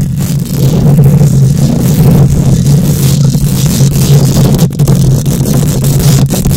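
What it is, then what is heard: Metal mesh microphone grille being scratched. Long nails scrape and scratch across a bare wire-mesh metal microphone grille. The result is a loud, continuous rumbling scratch dominated by a low hum near 141 Hz, with only a faint high hiss and a few brief dips in level.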